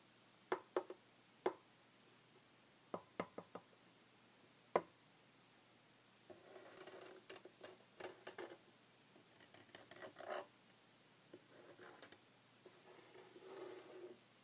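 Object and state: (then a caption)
Solid wooden tabletop. Short red fingernails of both hands tap a solid, flat, light wooden tabletop, giving quick, dry, sparse clicks with almost no ring in a quiet space. About halfway through, the sharp taps give way to longer, softer bursts of scratchy, rustling friction that come and go until the end.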